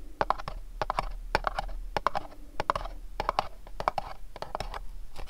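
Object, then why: Small printed cardboard candle box. Fingernails tap and scratch the faces of a small, dark, printed cardboard candle box as it is turned in the hands and its bottom is shown. A quick, irregular run of dry, clicky taps with a hollow midrange knock rings out, with soft scratchy rustles between them and each tap dying away almost at once.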